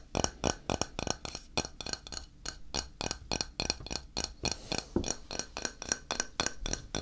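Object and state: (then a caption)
Ceramic tile. A flat, solid grey ceramic tile is held in the hand and tapped and scratched with fingertips and nails. About thirty quick, dry clicks with a bright, glassy top ring out in a steady rhythm, each dying away almost at once, with faint scratchy texture between the taps.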